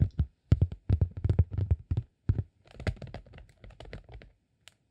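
A flat green honeycomb beeswax sheet is held against the body and rubbed and scratched with fingertips. Quick, irregular bursts of dull, low thumps and soft crinkly scratching come in clusters, then thin into lighter scratches before a single faint tap at the end.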